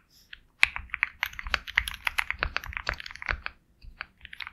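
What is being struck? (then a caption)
Mechanical keyboard with plastic keycaps. Rapid key presses on a compact 65% Sugar65 mechanical keyboard with KTT Kang White switches, a hollow black case and white and black double-shot plastic keycaps, typed with the fingertips of both hands. It produces a fast run of short, bright, clacky clicks centered around 2 kHz, each dying away almost instantly, with a brief pause before a few final keystrokes.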